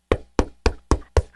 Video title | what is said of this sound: May 10, 2016 – Official Replay | Knocking on your book it's a real book cover